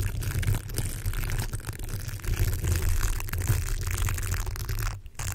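A yellow, hollow plastic hair roller with a velcro-like bristle surface is held over a foam-covered microphone and rubbed and scratched with fingertips. The result is a steady, muffled, low rumbling scratch with faint crackly texture above it. The sound briefly drops out near the end.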